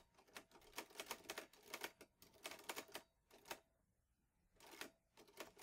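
Fingertips type steadily on the keys of a vintage teal metal Underwood Olivetti Lettera 22 portable typewriter with paper loaded. Sharp, bright, dry clacks come in quick runs with almost no low end, and the typing pauses briefly near the end before resuming.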